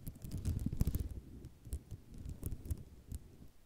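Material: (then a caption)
Ceramic. Long nails tap and scratch across the rows of small tiles on a white ceramic mosaic tile sheet. The sound is a quiet, uneven run of dull, low tapping with rustling scratches and occasional sharp, bright clicks.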